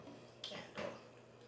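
An empty Aldi Huntington Home limoncello creme brulee candle jar, its wax scraped out for use in a wax melter, is tapped twice. Each tap gives a short, bright clink that rings out in about a sixth of a second. The jar sounds hollow and empty.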